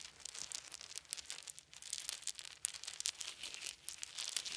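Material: Wood.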